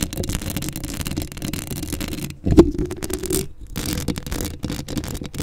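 Long acrylic nails scratch the hollow metal mesh grille of a black Blue Yeti microphone up close in the middle. The result is a dense, continuous rasping scrape weighted toward low and mid tones, with a louder scraping burst around the middle and brief near-silent pauses between strokes.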